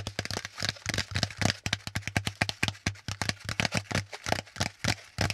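Fingertips tap fast on the flat panel of a brown corrugated cardboard packaging insert held upright, about thirty quick, dry taps in a rapid uneven flurry. Each tap is a short papery knock with a bright crackly edge and almost no ring, over a steady low hum.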